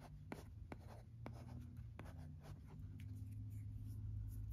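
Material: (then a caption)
Plastic. A red plastic stylus scratches and taps out handwriting on the screen of a teal plastic-framed LCD writing tablet resting on carpet. Short, sharp taps break up soft, continuous scratching over a steady low rumble.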